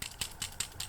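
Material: Plastic.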